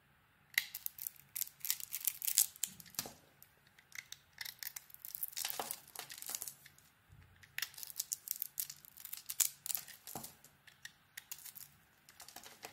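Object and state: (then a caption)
Bar of soap being carved. A metal utility blade carves a solid pink glitter soap bar with a white core, producing a long series of crisp, bright scraping and crunching cuts. Each short burst ends quickly and is separated by brief pauses, with almost no low-end body.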